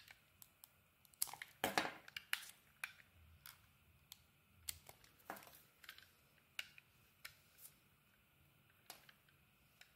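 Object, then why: Bar of soap. A hand-sized, solid pink bar of soap with coloured dots is held in the hand while a metal utility blade shaves off curls and scrapes its surface. Quiet, irregular crisp scraping and shaving strokes come with bright crackling edges and short taps, set against a low background hush.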